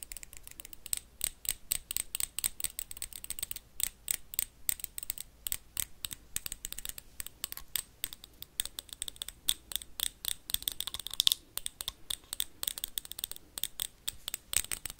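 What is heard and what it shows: A small, empty, clear glass jar with a black lid is rapidly tapped and scratched with metal paperclips. The result is a fast, steady stream of sharp, bright clicks and ticks with a glassy ring near 3.5 kHz, dying away almost instantly, over faint scratchy rasps with very little low end.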